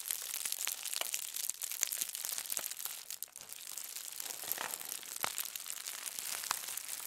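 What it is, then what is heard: Aluminium foil sheet being crumpled. A thin aluminum foil sheet resting on a table is gathered and crumpled by both hands with long nails. A dense, continuous run of bright, crisp crinkles and sharp crackles, with almost no low end, eases briefly just past the midpoint before building back up.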